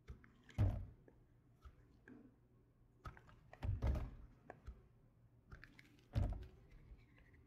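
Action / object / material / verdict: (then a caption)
scrape / soap bar cut with a knife / soap / none. A solid light blue bar of soap, held in the hand, is carved with a red patterned knife. Soft scraping and slicing alternate with dull, low thunks as the blade cuts through, with a few heavier cuts standing out. Each sound is short and dry, with almost no ring.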